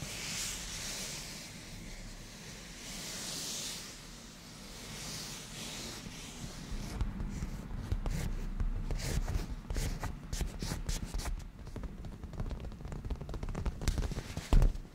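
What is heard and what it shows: Hands rub across a padded black grained leather cushion, then black-painted nails tap and scratch at its surface. The first half is a soft, breathy rubbing hiss with broad high swells. It then turns into a busier run of close, short taps and scrapes with a low thumping body that fall off quickly.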